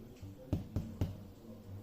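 Three hollow, low thuds come from taps on a baked bread roll, each dull and short with almost no ring. The hollow sound shows the roll is cooked through.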